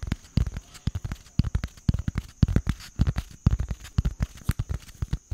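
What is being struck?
Small cardboard box.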